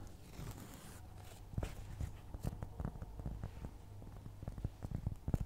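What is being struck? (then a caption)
Round flat cork trivet. Long nails scratch and tap across a round, flat, solid cork trivet. Quiet, dull, low-heavy taps with no ring scatter over a soft, continuous scratching rustle, with a few sharper taps standing out near the end.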